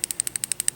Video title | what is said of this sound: Eterna - A Horological Legacy - Unboxing My Latest Omega - Soleure & Pre Eterna-matic Watch Review | when you shake it you can actually hear it bounces back and forth on two Springs and it winds the watch like that